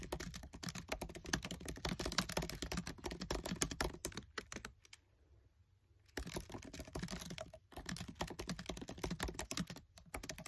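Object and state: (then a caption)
Plastic laptop keyboard keys. Fingertips with short nails type fast on the black plastic keys of a MacBook Air keyboard set in an aluminium body. The result is a dense run of quick, crisp clicks with soft low thuds. One near-silent pause falls around the middle, and brief gaps come later.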